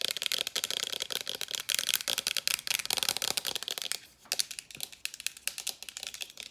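A small white plastic facial spray bottle with a pump top, held in both hands, is tapped rapidly with long nails. The result is a dense stream of sharp, bright clicks that die away almost instantly, with a brief lull just after four seconds before the tapping resumes.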